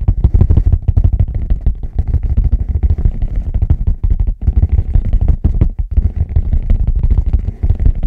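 A leather bag is tapped rapidly with the fingertips, producing a dense, continuous patter of soft, dull thuds. The thuds are deep and muffled, with almost nothing in the high range and very short decays. Two brief pauses interrupt the steady rhythm.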